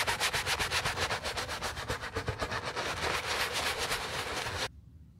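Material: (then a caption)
Leather. A wooden-handled bristle brush scrubs foam over a white leather sneaker with a beige band. Quick, steady back-and-forth strokes make a bright, hissing scratch that blurs into a continuous rasp toward the end, then stops abruptly just before five seconds.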